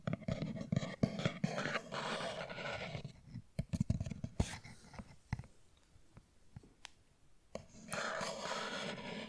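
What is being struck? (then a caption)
Small cardboard box. A small, hollow, rectangular printed cardboard deodorant cream box (Deo Creme packaging) is held in one hand close to the microphone and tapped and scratched with the fingertips and nails of the other. Dull, hollow taps alternate with stretches of dry, rustling scratching at the start and end of the clip, with a quieter run of sharp, isolated taps in the middle.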